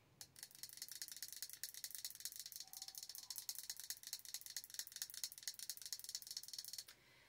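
Long orange nails rapidly tap the glass side of a large jar candle with a dark lid, filled with solid wax and held in one hand. The result is a quick, steady stream of bright, dry clicks with almost no ring, which stops abruptly near the end and leaves a faint hiss.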